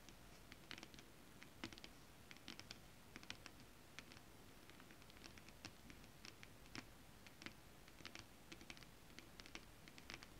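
Long acrylic nails tap rapidly and scratch with both hands across a flat sheet of shiny holographic mermaid scale-printed fabric. Quick, bright, dry clicks scatter irregularly over a soft, steady scratching rustle. The taps die away almost instantly, and the overall level stays quiet.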